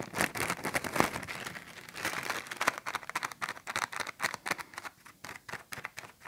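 A small, thin, empty clear plastic bag with a blue print is held in both hands while fingertips and nails crinkle and squeeze it. The result is dense, bright, irregular crackling with little low end, in rapid short bursts that thin out into quieter, more separated crinkles toward the end.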